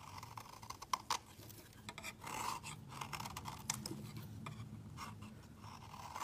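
A utility knife blade scrapes the edge of a solid white rectangular soap bar into fine shavings, while another untouched bar of soap sits nearby. Quiet, dry scratching strokes rasp in short bursts, centred around 1 kHz with bright, crisp edges over a faint low hum. The blade shaves the soap's edge away.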